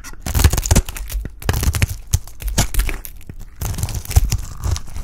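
A solid, dry orange oval bar of Absolut soap is held in the hand and shaved into curls with a utility knife blade. The clip is a dense run of short, dry scraping and crackling bursts, heavy in the low end with bright, crisp edges, each cut stopping almost instantly with no ring.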